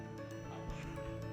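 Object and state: Nothing is struck.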